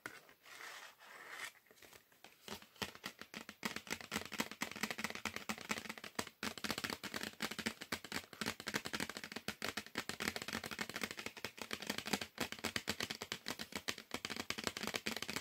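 A small, flat, red printed cardboard chocolate bar box is held up and tapped and scratched on its front face with fingertips and nails. After a couple of seconds of soft, sparse scratching, a dense, rapid stream of dry, bright taps and crinkly scratches continues steadily to the end, each hit short and crisp.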